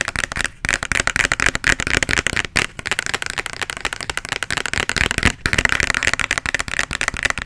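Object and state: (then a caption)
Plastic bottle tapped and scratched with nails. A small plastic bottle, partly full of red liquid and with a white label, is held close to the mic and tapped and scratched with long nails. Rapid, dense clicks and scratchy rasps with a bright, crisp edge continue throughout, broken only by brief pauses near 0.6, 2.5 and 5.4 seconds.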